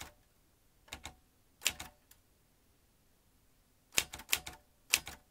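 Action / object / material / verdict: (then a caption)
strike / metal manual typewriter / metal / none. Fingertips of both hands type on the round keys of a vintage metal manual typewriter, with its typebar basket and ribbon spool in front. Ten sharp, bright metallic clacks come in uneven clusters separated by quiet pauses. Each strike dies away almost instantly.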